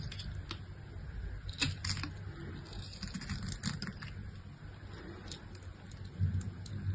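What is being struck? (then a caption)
Bar of soap cut with a knife blade. A utility-knife blade scrapes and cuts pieces off a scored, chipped solid pink bar of soap held in the hand. Scattered crisp, bright scraping clicks and snaps sit over a steady low rumble.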